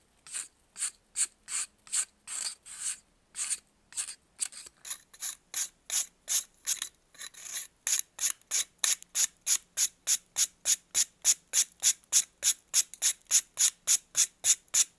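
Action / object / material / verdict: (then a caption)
scrape / pressed baking soda block scraped with a metal knife / baking soda / none. A metal knife scrapes a solid white pressed baking soda block held in blue gloves, producing 41 short, rasping strokes at a steady pace of about three per second. Each stroke is a bright, dry, high-pitched scratch that stops almost at once, with no low rumble beneath it.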